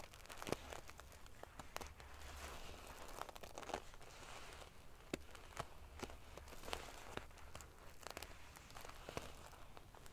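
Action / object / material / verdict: scrape / metal sequin-covered pillow / metal / none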